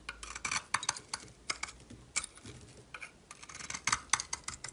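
A metal utility knife blade scrapes and carves a solid yellow bar of soap held in the hand. It makes a quick run of dry, bright, rasping scrapes with almost no low end, each stopping sharply with no ring.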